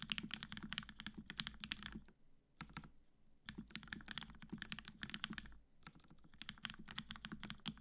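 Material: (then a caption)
Plastic, aluminium. A black-cased tenkeyless Matrix 8X V2.0 mechanical keyboard, with an aluminum plate, cream PBT keycaps and 65g retooled black switches fitted with Gateron yellow springs, is typed on continuously with the fingertips of both hands. Bursts of quick, bright clacks over a low thock are broken by short pauses near 2, 3 and 6 seconds. The result is a solid-sounding keystroke with a dry, instantly stopping attack.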